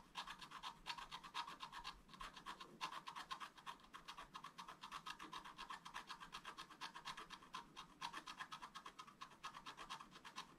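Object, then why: Black-coated scratch-art paper card scratched with a wooden stylus. A wooden stylus makes rapid, small scratching strokes in the tree canopy of a thin, solid, flat black-coated scratch-art paper sheet lying on a table. It produces a steady run of quiet, dry, raspy scratches centred around 1 kHz with a bright, hissy top and almost no low end. Each short stroke stops at once.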